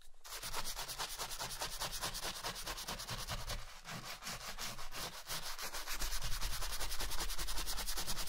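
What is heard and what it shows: A wooden-backed bristle brush scrubs the toe of a black leather Chelsea boot coated in cleaning foam while the boot is worn on a foot. Quick, steady back-and-forth strokes make a bright, scratchy rubbing hiss over a low rumble, growing slightly louder toward the end.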